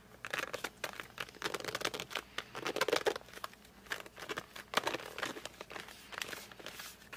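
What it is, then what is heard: Cardboard pencil box. Fingertips grip and drag across the glossy front of a flat cardboard colored pencil box. This produces a quick run of short, dry squeaks and crinkly scrapes with bright, rustling texture and almost no low end. The bursts come in uneven clusters throughout, each stopping dead with no ring.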